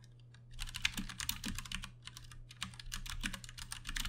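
Both hands type fast with their fingertips on a Ducky One 2 Mini, a compact 60% RGB-backlit mechanical keyboard with plastic keycaps and Cherry MX Brown switches, resting on a desk. After a brief quiet start, a dense stream of short, bright, clacky keystrokes runs continuously over a steady low hum.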